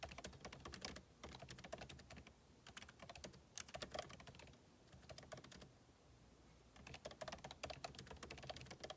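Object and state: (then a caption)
Laptop keyboard being typed on. Two hands type with their fingertips on a backlit MacBook Pro laptop keyboard, its plastic keycaps set in a hollow aluminum case. The clip is a steady stream of quick, dry key taps with bright clicky tops. The taps come in bursts separated by brief quieter gaps.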